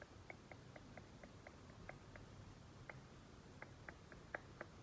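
Painted nail tips tap and trace on a large flat-panel TV screen, producing fourteen short, dry clicks spaced unevenly across the clip. Each tap is a quiet, sharp tick in the mid-range around 1.6 kHz that dies away almost instantly, heard over a soft, low background rumble.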